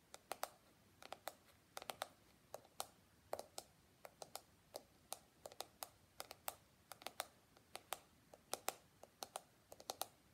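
Fingertips and nails scratch and flick across the flexible plastic bristles of a small handheld pink and white plastic detangling brush and tap its hollow shell back. The result is an irregular run of quiet, sharp, bright clicks, each dying away almost instantly, over a faint hiss.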